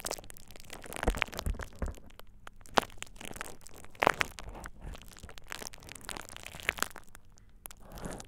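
A thin purple plastic bubble wrap sheet laid over the ears of a dummy-head microphone is squeezed and crinkled by fingertips. A steady close-up crackling and crinkling runs throughout, broken by a few sharper snapping pops that stand out from the rustle.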